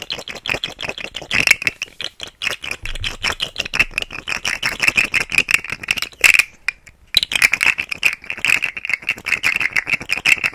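A rainbow, segmented plastic articulated fidget slug toy with hollow segments is dangled and wiggled beside the mic, its segments rattling against each other. The result is a dense, fast stream of dry, bright clicks centered around 2 kHz with almost no low end, broken by a brief pause just before the seventh second.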